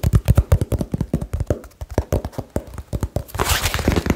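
Fingertips and nails tap rapidly on a small, hollow cardboard box with a label, producing about thirty quick, dull, low thuds that stop almost instantly. Near the end, a brighter, hissy scraping rustle joins the taps.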